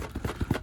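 A sealed cardboard Pokémon theme deck box is shaken, producing four dull, low thuds. Everything inside is wrapped together in one compartment, which marks it as either an unlimited deck or the Diglett error deck.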